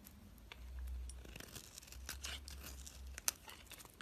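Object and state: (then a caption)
Bar of soap being shaved with a blade. A black utility blade shaves thin strips off a solid white bar of soap held in the hand. Soft, dry scraping and crinkly tearing strokes come one after another over a low steady hum, with one sharp, bright click near the end.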